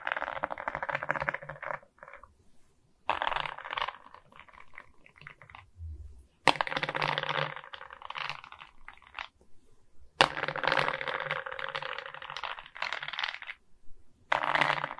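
Long nails tap and scratch across the resin rhinestone beads of a diamond painting set on a wooden frame. Dense bursts of crisp clicking and gritty scratching run in bright, rapid clusters, broken by short quiet gaps and a few sharper taps.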